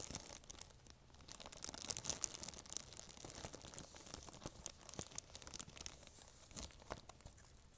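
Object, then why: Thin plastic bag. Long nails crinkle and scrunch a thin, empty, transparent plastic bag held close to the microphone. The result is a dense stream of quiet, bright, crackling rustles with short sharp snaps, swelling slightly louder around the second and third seconds.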